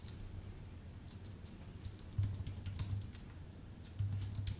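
Fingertips of both hands tap the plastic keys of a full-size white Apple Magic Keyboard with numpad and a thin aluminium base, resting on a dark desk. Soft, bright key clicks come in irregular bursts over a steady low hum, which swells in a couple of stretches.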